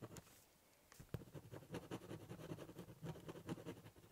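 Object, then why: Corrugated cardboard box top. A ballpoint pen draws on the top of a large corrugated cardboard box, doodling and cross-hatching with quick scratching strokes. The scratches come in a loose, uneven rhythm of soft, dull scrapes with a low, papery rumble and brief bright edges, all at a quiet level.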